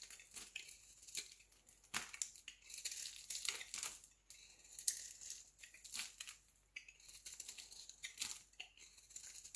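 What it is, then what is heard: Bar soap being shaved. A solid round green bar of soap, held in the palm, is shaved into curls with a utility knife blade. Quick, bright scraping and crackling strokes come in dense bursts with almost no low end. Each stroke dies away almost at once.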